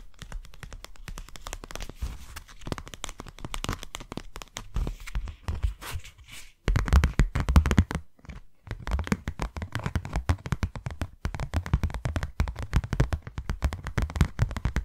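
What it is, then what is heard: Cardboard box. Long nails tap and scratch the faces and edges of a hand-sized white cardboard box, closed and apparently empty. Rapid, dense dry taps and scratchy rustles with a hollow, low-heavy thump and almost no ring carry throughout. They grow louder after about 6.7 s, with a brief pause near 8.3 s.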